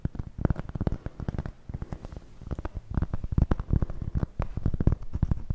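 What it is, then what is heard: Cork coaster. Long nails tap and scratch a large, round, solid cork coaster held in front of the face. A rapid, uneven run of dull, muffled, bass-heavy taps stops almost instantly, with softer scratching between bursts. The sound stays low and thuddy throughout, with almost no bright edge.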